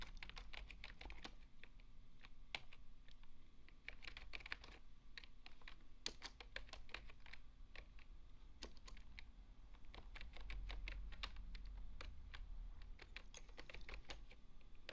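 Both hands type with their fingertips on a full-size beige plastic desktop keyboard. A steady stream of soft, quick, bright clicks and taps sits over a constant low hum at a quiet level.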